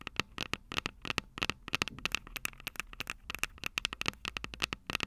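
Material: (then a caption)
Metal, plastic. Long purple nails rapidly tap and scratch the two silver metal mic capsules on a plastic-bodied Tascam DR-05 handheld recorder. The result is a quick, uneven run of sharp, bright clicks, each with a faint metallic ping near 2.7 kHz that dies away at once, over a soft scratchy rustle.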